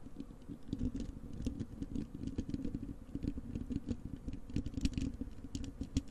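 Long acrylic nails on both hands scratch the bare, hollow wire-mesh metal grille of a large desktop microphone. The result is a dense, continuous stream of quick scratchy taps and rasps with a heavy low-end rumble, close and steady throughout, with brief brighter ticks scattered on top.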